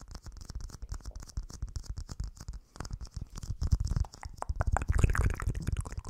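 Fingernails scratch a small, hollow, empty clear plastic dome cap held over a microphone, making rapid, uneven scraping strokes with a deep, boomy low thump beneath a thin, bright hiss. The scratching grows louder and denser toward the end as the cap is lifted away in hand.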